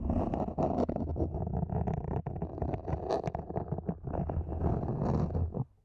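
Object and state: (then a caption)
Plastic mini planter being scratched. Long nails scratch the lower sides of a small matte black hollow plastic mini planter, making a dense, continuous rasping with a heavy low rumble and brief brighter scrapes. The scratching runs steadily throughout and drops away abruptly just before the end.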